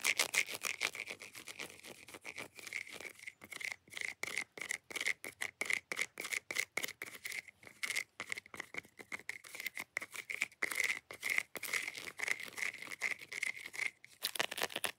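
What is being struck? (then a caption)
Segmented chocolate bar. Long nails scratch fast and hard across the grid of squares on a large, solid, segmented chocolate bar held flat. The result is a rapid, dense run of bright, raspy strokes with a squeaky tone near 2 kHz. Each stroke stops dead, with no low end and no ring.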